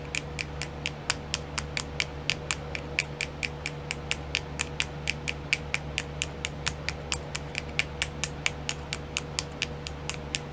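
Long nails tap on a small, round, clear plastic nail art wheel with filled compartments, making about 45 short, bright plastic clicks at a quick, uneven pace. The clicks are dry with almost no ring, over a steady low hum and a faint constant tone near 500 Hz.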